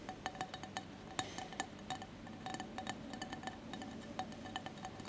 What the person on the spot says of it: ASMR tapping and scratching on glass candle holder